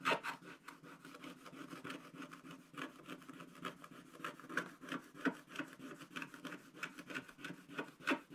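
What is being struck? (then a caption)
Black-coated scratch-art paper page scraped with a wooden stylus. A wooden stylus scratches the top area of a black-coated scratch-art card page in a spiral book. It makes a steady run of quick, dry rasping strokes with a papery midrange hiss and bright edges, each stroke short with no ring.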